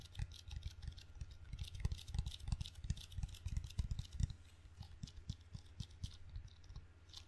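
A table tennis paddle with red rubber facing on a solid wooden blade is held in one hand while sticky fingertips rapidly tap and peel across the rubber face and the wooden edge. The result is a quick, uneven run of soft low thumps mixed with bright, crackly sticky clicks over a faint steady low hum.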